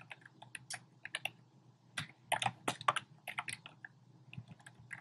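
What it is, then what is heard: Plastic keyboard typing. Fingertips with short painted nails rapidly tap the keys of a compact, hollow black plastic typewriter-style keyboard with round pink, red and beige plastic keycaps. About 21 quick, dry plastic clicks and clacks come in uneven bursts, each bright and ending almost at once, centered around 1.2 kHz over a faint low hum.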